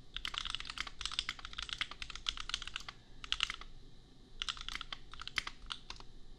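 Fingertips type on a compact $250 custom mechanical keyboard with red and pink plastic keycaps and Gateron Milky Yellow switches. Quick bursts of bright, short, clacky keystrokes come in runs, with a brief lull around the middle before typing resumes.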